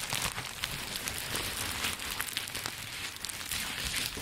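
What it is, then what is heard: Plastic bubble wrap being crinkled. A large sheet of green plastic bubble wrap with air-filled bubbles, bunched into a dome and held in both hands, is squeezed, pressed and crinkled by fingertips. The result is a steady, dense, bright crinkling and crackling with small sharp bursts throughout and little low end.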